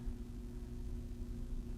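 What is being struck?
Nothing is struck.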